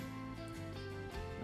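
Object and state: Nothing is struck.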